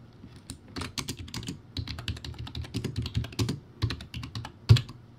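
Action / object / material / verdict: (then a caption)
tap / plastic keyboard with round keycaps / plastic / none. Fingertips type quickly on a low-quality, backlit, plastic typewriter-style keyboard with round white plastic keycaps. A steady run of short, clacky keystrokes has a hollow low body and bright plastic clicks, with a few bursts and brief pauses. One louder key strike lands near the end.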